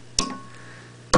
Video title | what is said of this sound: Noise Testing the 12AX7 Vacuum Tube | extremely noisy as you can hear the tapping clearly through the loudspeakers of the amplifier